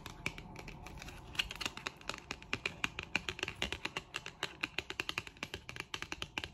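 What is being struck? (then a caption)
Thin cardboard card tapped with fingernails. Long acrylic nails tap and flick along the edge and face of a thin, solid, flat printed white cardboard card, a Disney product backing held in the hand. It opens as a dense, fast patter, then settles into crisp, separate clicks. Each tap is dry and bright with almost no ring, centred around 2.4 kHz.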